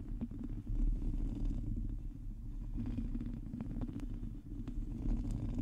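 Long teal nails on both hands cup the head of a black microphone and scratch its hollow, domed metal mesh grille. The result is a steady, dense, low rumbling scrape with soft crackly ticks over the top, almost all of its energy deep in the bass.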